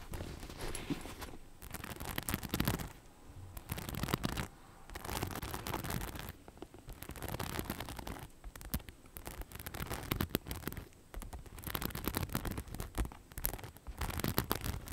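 Long nails on both hands scratch and tap the rhinestone-studded panel of a hollow beige faux leather bag. Dense bursts of crisp, crackling clicks and scratchy rasps come in repeated stretches of about one to two seconds, separated by brief quieter gaps. The sound is bright and broadband, with a soft low thump underneath.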